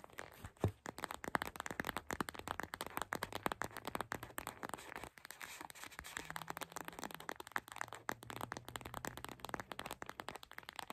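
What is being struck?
Gel bead eye mask with plastic shell.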